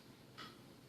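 A light tap on a silvered glass thermos liner, made of two thin glass walls with a vacuum between them rather than one thick wall. It gives a single bright, hollow glassy tick pitched around 1.3 kHz that rings for about half a second over a quiet background hum. The liner sounds hollow.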